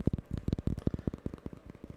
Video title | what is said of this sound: ASMR My First Video! Tapping, Hand Sounds, and Crinkle Assortment! | it has this nice kind of muted sound to it when you tap